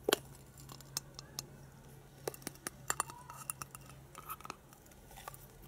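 A hand-sized hollow plastic penguin egg toy with a translucent ribbed lower part, held in both hands, is tapped and scratched with long painted fingernails. Sharp, bright, dry clicks and ticks come in an irregular scattered series with brief scratchy rasps between them, over a faint steady low hum.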